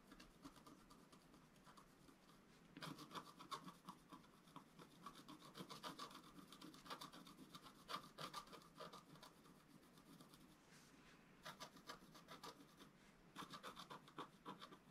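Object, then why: Scratch art paper sheet scraped with a wooden stylus. A wooden stylus scratches the coating of a flat scratch art paper sheet lying on a table, in quick, uneven repeated strokes. The sound is a quiet, dry rasping with a scratchy tone around 1.2 kHz and bright hiss, swelling into busier, louder bursts of strokes before easing off.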